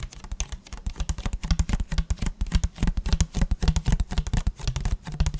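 Fingertips and short nails tap and scratch the sides of an empty, hollow, medium-size clear plastic (PET) water bottle with a blue cap. A rapid, steady stream of soft taps gives dull, hollow, low thumps with faint crackly scratches, each dying out almost at once.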